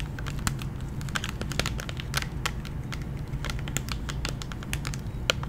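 Long nails tap and lightly scratch a candy blister pack, a hollow clear plastic shell with a gummy inside on a cardboard backing. The result is a quick, irregular run of short, dry plastic clicks with bright crinkly edges and almost no ring, over a steady low rumble.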